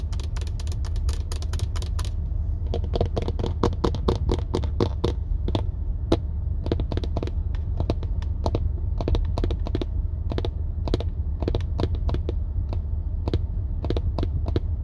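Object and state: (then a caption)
Plastic steering wheel airbag cover. Long turquoise acrylic nails tap rapidly across the large, hollow-backed center airbag cover of a car steering wheel, made of hard dark plastic, with the hand resting near the buttons at the start. Quick, sharp, bright clicks come in dense bursts over a steady low rumble. Each tap dies away almost at once.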